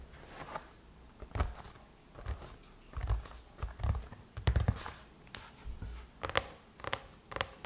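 Long chrome-painted nails tap and scratch across the closed silver aluminum lid of a MacBook, a solid thin metal shell over a hollow body. Quick, dry clicks and short scrapes come in irregular bursts, with a dull low thump under each tap and a faint bright tick on top that dies away almost instantly.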